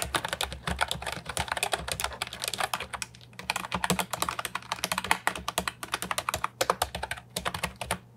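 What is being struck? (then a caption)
Plastic keyboard with round keycaps. Rapid typing with fingertips and short nails on an Ajazz 308I, a brown and white compact wireless keyboard with hard plastic round typewriter-style keycaps, resting on a wooden desk. Dense streams of short, bright plastic clacks with almost no ring stop briefly around the three- and seven-second marks over a faint steady low hum.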